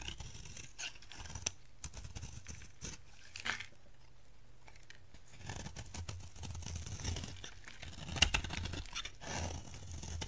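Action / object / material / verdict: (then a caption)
scrape / soap bar scraped with a knife blade / soap / none. A utility knife blade scrapes and shaves crumbly flakes off a solid, dry orange soap bar held in hands with black nails. Soft, crunchy scraping and crackling strokes come and go, with a few sharper bright snaps over a low background rumble.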